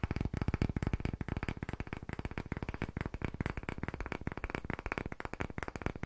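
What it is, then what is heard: Light wooden disc tapped with fingertips. A solid-looking round, pale wooden disc is gripped and tapped very quickly with fingertips and short nails close to the microphone. The result is a rapid, steady stream of short, dry knocks with a deep, woody body and almost no ring.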